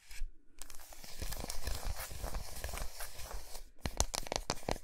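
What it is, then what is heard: Milk chocolate bar. Long nails tap and scratch the flat, smooth back of a large solid milk chocolate bar resting on a towel. A dense, crackly scratching with soft low thumps runs throughout, breaking off briefly before a burst of sharper, brighter taps near the end.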